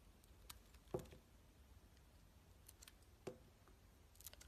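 A box cutter blade shaves and cuts the sides of a solid blue-crusted white soap bar held in the hand. Soft scraping and faint crisp ticks are broken by two louder, short dull cuts with a low thud around 375 Hz. A quiet, low hum sits underneath throughout.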